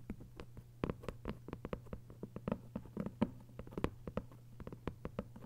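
Long acrylic nails tap and scratch across the paper-covered front of a closed, thick hardcover book with a paper dust jacket lying flat. The quick, irregular taps are short, dry and papery, with no ring, over a steady low hum.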